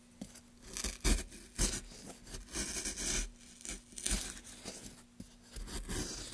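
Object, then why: Softwood block. A gouge held in gloved hands scrapes and cuts grooves into a solid pale softwood block. It makes a run of short, rasping, tearing strokes with a bright, hissy edge, each backed by a soft low thump. Quiet pauses fall between the strokes.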